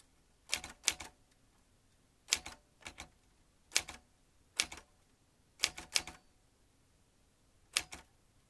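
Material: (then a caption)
Metal. Fingertips tap the keys of a vintage metal manual typewriter, striking in short bursts of two or three quick keystrokes separated by quiet pauses. Each strike is a sharp, bright clack with almost no low end that cuts off almost instantly.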